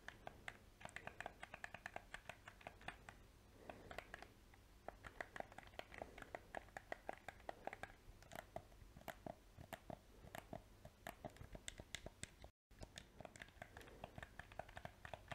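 A small, hollow black PS4 plastic controller is held close while its buttons are clicked and its shell is tapped with fingernails and fingertips. The result is a dense, quick run of short, dry plastic clicks and taps with almost no ring, a mid-range tone, and a brief silent gap near the end.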